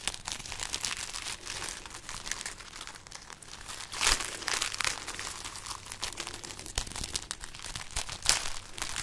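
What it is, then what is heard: String of dried red chili peppers. A string of dried, papery red chili peppers is held up and rubbed and crinkled with painted nails. The result is a continuous dry, bright crackling and rustling, with louder crunchy bursts near the 4-second and 8-second marks.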